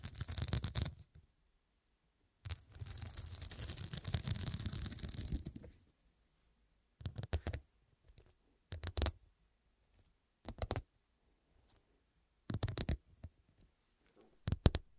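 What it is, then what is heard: Glass studded pillow. Long nails tap and scratch across a small, soft, filled fabric-backed pillow covered in a grid of square faceted glass studs. Short bursts of clicky taps alternate with a longer stretch of rapid scratching, with a bright edge over a low, soft body and silent pauses between.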